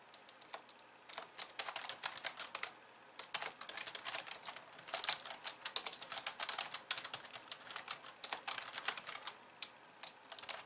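Both hands with long painted nails type and tap on the white keys of a hollow, pink-framed plastic computer keyboard resting on a wooden desk. Dense, bright, clicky keystrokes come in quick bursts with brief pauses, each click dying away almost instantly with no low-end thump.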